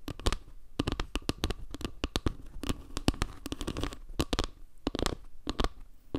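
Long nails scratch and tap along the edge and face of a solid, round wooden log-slice panel tilted near the mic. Dense bursts of short, dry, bright scratches and clicks follow each other quickly, each dying away almost instantly. Beneath them sits a low, woody thump.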